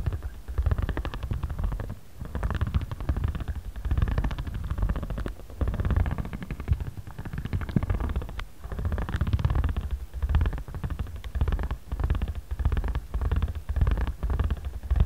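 A ridged spiral facial roller on a handle is rolled and rubbed across a flat square pad of patterned origami paper with a card cover, lying on a cutting mat and held by one hand. The result is a deep, continuous rumbling texture of rapid, dense bumps, concentrated almost entirely in the low end, that swells and dips in short strokes with little high-frequency content.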